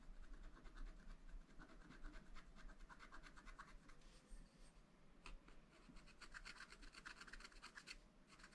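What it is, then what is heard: Scratch-art paper pad. A wooden stylus scratches small details into a black coated sheet on a scratch-art paper pad. The result is a quiet run of quick, short scratching strokes with a bright, papery hiss over a faint low rumble.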